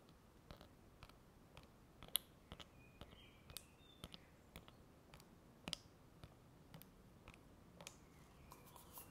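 A single long natural fingernail taps and scratches the inner wall near the rim of a small, hollow, empty, frosted translucent plastic manicure soak bowl with a domed inner insert. About 13 quiet, sharp, bright clicks land at irregular intervals, each dying away almost instantly, with faint scratchy rasps between them. The clicks center around 3.4 kHz.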